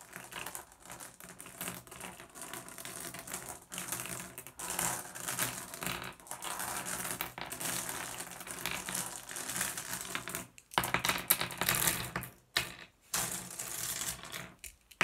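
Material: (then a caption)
Glass. Fingers rake across and grab small, solid blue glass gem pebbles, producing rapid, dense clicking and rattling. The clicks are bright and short, with brief pauses near the end and louder bursts of clacking in between.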